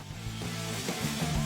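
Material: Nothing is struck.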